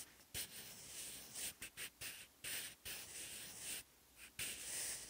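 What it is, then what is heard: Graphite pencil writing on notebook paper. A sharpened wooden graphite pencil writes Korean characters on the textured lined paper page of an open notebook. Bright, dry scratching strokes come in short bursts separated by brief pauses. The strokes carry a high hiss with almost no low end.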